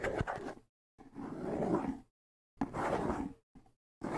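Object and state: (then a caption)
Bongo drum head being scratched. Fingertips scratch the skin head of a small, hollow wooden bongo drum held up in the air, in quick strokes. The result is a series of short, raspy, brushing bursts separated by brief silences, with a low, rough body and a little airy hiss.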